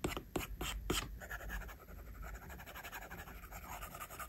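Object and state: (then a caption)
Stylus drawing on a glass tablet screen. A plastic stylus tip draws on an iPad's glass screen, likely covered with a matte film, while the fingertips of the other hand rest on the screen. A few sharp taps stand out at the start, followed by a steady run of quick, dry scratching strokes with a bright, papery texture.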